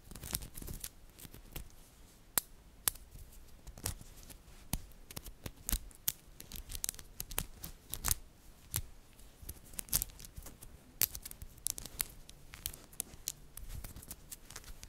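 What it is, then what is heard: Magnetic metal balls. A cluster of small, solid, green-coated magnetic metal balls is squeezed and picked apart by fingertips and long nails. The balls give off many sharp, bright, very short clicks in an irregular stream over a quiet, soft background.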